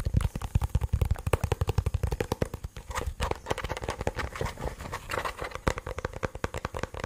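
A black, cylindrical, hollow plastic portable Bluetooth speaker, held upright and then sideways, is rapidly tapped and scratched with fingernails. The clip is a dense run of quick, dull taps with a low, hollow thump, heavier in the first few seconds, then lighter taps mixed with scratchy rustling.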